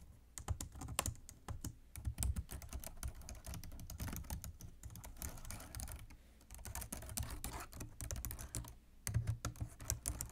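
Fingertips and nails type continuously on the keys of a black plastic computer keyboard resting on a desk. The clip is a dense, fast stream of short clicky taps with brief pauses, a low thump under bright key clatter.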